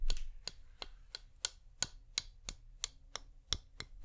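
Long fingernails tap slowly on the same flameless wax pillar candle, one tap at a time. Thirteen short, dry, bright clicks are spaced about a third of a second apart over a faint low hum, and each one dies away almost at once.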